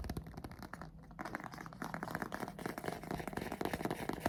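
Short fingernails rapidly tap and trace the textured cover and spine of a hardcover copy of the novel Klara and the Sun. The result is a dense run of quick, dry clicks and scratchy scrapes with a low, muffled body. There is a brief quieter pause near the one-second mark.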